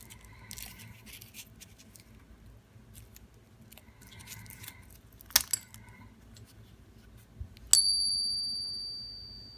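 A counterfeit 1886 Morgan dollar is taken out of its flip with soft crinkling and a few small clicks, then ping tested. A sharp strike sets off a clear high ring that fades over about two seconds. The counterfeit rings very close to a real silver Morgan dollar.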